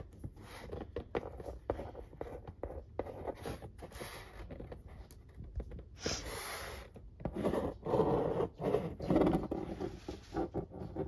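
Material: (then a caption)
Cardboard. A capped marker pen tip is traced and scratched along the printed lines of a large, flat corrugated cardboard pizza box lid. Soft, irregular scratchy strokes and scrapes repeat throughout. They grow louder and denser in the second half before easing off.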